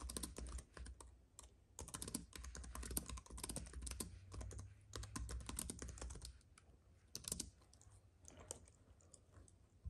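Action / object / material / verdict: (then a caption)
tap / keyboard with plastic keys on an aluminium base / plastic / none. Fingertips of both hands type quickly on a compact white keyboard with plastic keys on an aluminium base, resting on a fuzzy mat with a paintbrush lying idle beside it. The result is a dense, irregular stream of short, bright clacks with a soft low thud under each press, with brief pauses between bursts and the typing growing lighter toward the end.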